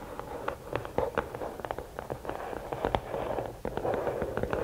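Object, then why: Rigid cardboard gift box. Long nails tap the top of the lid of a closed, hollow red and black rigid cardboard gift box, then scratch along its sides. The sound is a run of quick, sharp, hollow taps with a midrange knock that stop almost instantly, followed by softer, continuous scratching.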